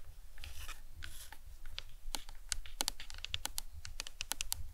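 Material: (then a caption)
Plastic. Long acrylic nails tap and lightly scratch a large hollow white plastic skull cap from an anatomical skull model, with painted suture lines, resting on a towel. Soft, papery scratching at the start gives way to a quick run of sharp, bright, dry clicks that die away almost instantly, over a steady low rumble.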